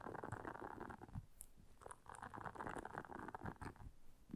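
Long nails scratch across the soft bristles of a round, flat blue silicone scrubber pad lying on black fur. It makes a quiet, continuous rustling scrape with a dull, low rumbling body, occasional faint bright ticks, and no lingering ring.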